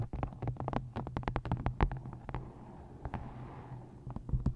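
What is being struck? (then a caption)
Paperback book. Fingertips and long nails tap rapidly on the top edge and cover of a solid, closed, white-covered paperback book, *I Hate Dolphins*, resting on a microphone. The taps are short, dull thuds with a deep, boomy low end and a little papery click, and they die away almost instantly. A brief softer patch of light scratching comes before a final few firmer taps.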